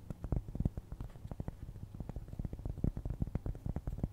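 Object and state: Cork trivet scratched with nails.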